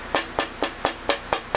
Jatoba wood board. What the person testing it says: the woods got a very bright tap this is actually a pretty good piece it's got a nice ring